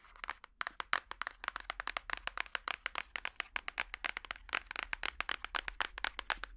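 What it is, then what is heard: Book. A paper book is tapped with plastic finger picks in a quick, uneven run of sharp, dry clicks. The taps are bright, centred around 1.5 kHz, and stop instantly with no ring. A faint steady low hum sits underneath.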